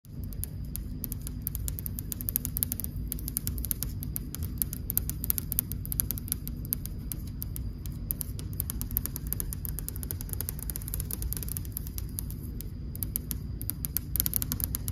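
Long dark almond-shaped nails tap rapidly on a large, solid, flat, polished white-and-beige veined marble wall, with occasional tapping on the camera. Dense, crisp, short clicks run continuously over a steady low hum that carries most of the energy.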